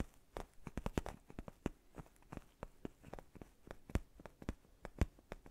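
A soft, black padded faux-leather neck pillow is tapped and scratched with fingertips and short nails close to the mic. The result is a quick, irregular series of dull, low taps, each with a brief bright click and almost no ring. Faint scratchy rustling fills the spaces between the taps.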